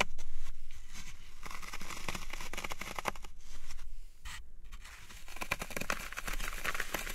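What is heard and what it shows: Fingertips press and poke into the top surface of a dry green floral foam cube resting on a wooden tray, leaving it dimpled. A dense run of crisp, crunchy crackles and fine crumbling sounds repeats quickly and unevenly over a low background rumble, with bright, airy texture in the crunches.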